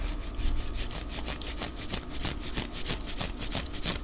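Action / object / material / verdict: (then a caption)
scrape / knit cotton long-sleeve shirt / cotton knit / none. Fingernails scratch and rub up and down the forearm sleeve of a white knit cotton long-sleeve top worn on the body. About eleven repeated bright, dry scraping strokes sound over a low steady rumble, with a fast, loose rhythm.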